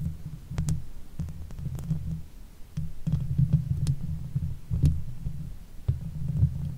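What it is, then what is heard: Metal mesh microphone grille being scratched. Long nails of both hands scratch the top and sides of the hollow metal mesh grille of a Blue Yeti microphone. The result is a continuous, muffled low rumble of rubbing that rises and falls in uneven bursts, with faint, brief ticks of nail on mesh scattered throughout.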